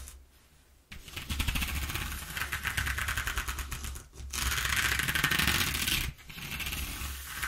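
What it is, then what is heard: Corrugated cardboard sheet being scratched. Fingernails scratch rapidly across the exposed ridges of a single-face corrugated cardboard sheet. After a quiet opening, three bursts of bright, dry, ribbed rasping are separated by short pauses, with the middle burst loudest.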